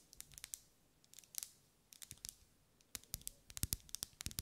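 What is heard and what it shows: A lit pink ribbed solid wax pillar candle, about 10 cm tall, is held in the hand and tapped and scratched with long light-grey acrylic nails. Quiet, bright, crisp clicks and scratchy ticks come in irregular clusters, with a faint low thud under some taps. Each sound stops almost instantly with no ring.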